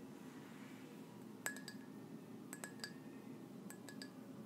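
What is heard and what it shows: Long nails tap a white ceramic mug with gold dots, held up and empty, nine times in three quick clusters. Each tap is a short, bright clink with a brief ring near 1.7 kHz over a quiet, steady low background hum.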